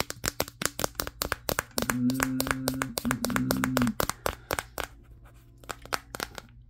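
Fingertips rapidly tap the matte glass back of a Samsung Galaxy S23, the recording phone itself, held in both hands. The taps are sharp, bright clicks in an uneven, quick rhythm, and from about 2 to 4 seconds a steady low hum around 250 Hz sounds beneath them. Then the tapping continues alone and trails off quieter.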